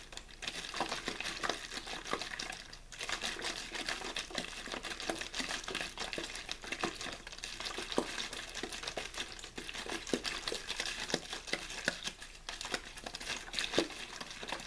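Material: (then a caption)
Plastic. A clear, thin plastic water bottle with a blue label, hollow and apparently empty, is held in one hand and shaken and squeezed. Steady crinkling and crackling continues throughout, with many quick sharp clicks and bright, hissy texture. There is little low end.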